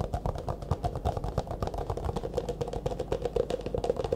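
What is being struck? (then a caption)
Clear plastic disposable cup. Fast fingertip and nail tapping on the sides of an empty, hollow, disposable clear plastic cup held upright in both hands. The result is a rapid, continuous patter of short, dry taps with a hollow mid-pitched ring around 490 Hz over a soft low body.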